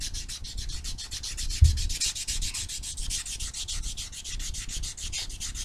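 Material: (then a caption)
Abrasive foam. A small solid foam nail buffer block with white and blue abrasive sides is rubbed back and forth across fingernails to buff them. The result is a fast, steady rhythm of scratchy, bright strokes over a soft low rumble, with one brief louder bump partway through.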